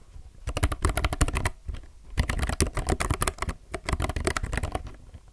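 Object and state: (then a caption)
Mechanical keyboard with plastic keycaps. A low-profile mechanical keyboard with plastic keycaps is typed fast with the fingertips of both hands. Rapid, dense bursts of short, dry key clacks with a deep, low-weighted thock are separated by brief pauses, and each stroke dies away almost instantly.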